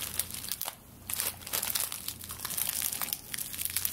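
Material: Straw.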